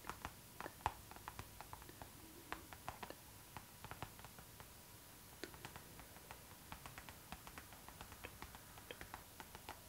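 Long nails tap and scratch the glossy surface of a clear pink PVC zipper pouch, a transparent pink vinyl bag held close. The result is a quiet stream of dozens of short, sharp, bright clicks that die away almost instantly, with soft scratchy rustles between them.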